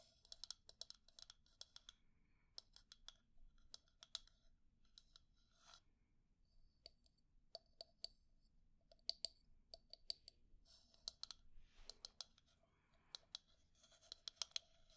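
Long nails tap and scratch the side and bottom of a hollow, pale wooden cylindrical cup holding makeup brushes. Quiet, sharp, bright clicks come in quick irregular runs with almost no ring, and a short scratchy rasp is heard near the end.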